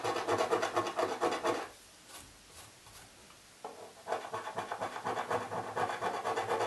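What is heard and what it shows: A coin scrapes the remaining scratch-off film on the lid of a hollow cardboard Birchbox box in fast back-and-forth strokes, making a raspy, scratchy rubbing sound. The scraping runs for under two seconds, drops to near silence with only faint soft sounds, then resumes and continues steadily to the end.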